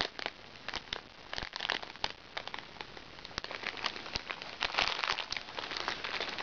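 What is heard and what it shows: Fingertips with long red nails scratch and press the surface of a small, flat zip makeup bag held on a lap, made of crinkly recycled plastic sachets with fabric trim. The result is a steady stream of bright, dry crinkling and crackling with sharp little snaps that die away almost instantly and very little low end. The crinkling grows denser and somewhat louder toward the end.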